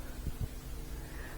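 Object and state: Nothing is struck.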